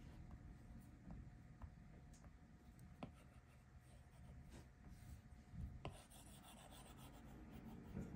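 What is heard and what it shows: A plastic Apple Pencil tip, held in the fingers, rubs and scratches across the flat glass touchscreen of an iPad Pro lying on a table in repeated strokes. The result is a quiet, low, dull rasping with a few faint, short ticks scattered through it.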